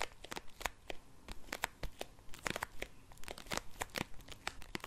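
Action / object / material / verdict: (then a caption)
scrape / plastic bag holding compressed towel tablets / plastic / none. Long acrylic nails scratch and crinkle a small clear resealable plastic bag of compressed towel tablets held up in both hands. A rapid series of sharp, bright crackles and crinkles sounds over a soft, low rustle.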